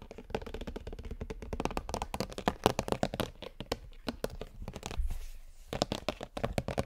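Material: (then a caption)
Plastic. Fingers and nails tap and scratch rapidly on the green plastic brain-shaped lid of a large, hollow, pink-red plastic skull container. The result is a dense run of short, dry, hollow clicks and taps with a low-mid body. About two-thirds of the way through, the tapping briefly gives way to a softer, hissy scratching before the quick taps resume.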